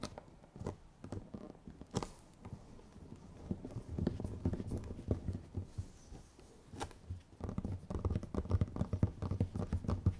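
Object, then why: Small round clear plastic jar with lid. Long nails scratch and tap the lids and sides of two identical small, round, clear plastic dome containers with a strawberry label and red contents, held one in each hand. The result is an irregular stream of quick, dry, muted taps and soft scratching, heavy in low tones, with denser bursts of tapping toward the end.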